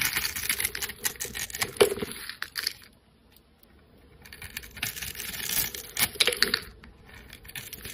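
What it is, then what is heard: Soap bar being carved. A solid coral soap bar with an embossed logo is held in the hand while its scored surface is scraped off in crunchy cubes with a flat metal blade. Dense, bright crackling and crisp snapping fill the first few seconds, then fall almost silent for about a second before the crunchy scraping builds again and tapers off.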